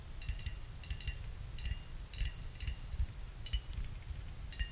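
A pick plucks the thin side fins of a small, finned aluminum CPU cooler heatsink, and each pluck gives a short, bright, high metallic ping like a wind chime. The pings come in an irregular series over a soft low rumble, each dying away almost at once.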